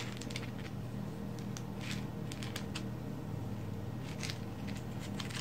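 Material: Coal.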